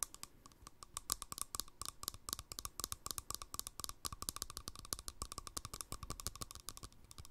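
Rapid fingernail tapping on the flat top of a green plastic lid fitted on a small, empty glass jar held sideways. The clicks are crisp, bright and very short, coming in quick irregular bursts with almost no ring after each hit.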